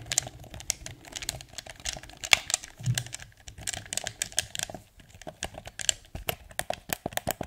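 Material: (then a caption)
Plastic. A blue hard plastic PS4 DualShock 4 controller, hollow and held in both hands, is tapped on its shell with fingertips while its buttons and sticks are pressed. The result is a rapid, uneven stream of short, dry, bright plastic clicks and taps with no ring, a few louder clacks standing out over a soft rustle.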